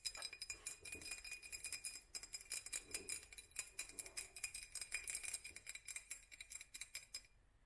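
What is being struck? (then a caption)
Textured glass jar. A hollow glass jar with a black hobnail surface is held close and tapped rapidly with long fingernails. The result is a dense run of quick, bright glassy clicks and clinks with a faint high ring, stopping abruptly just before the end.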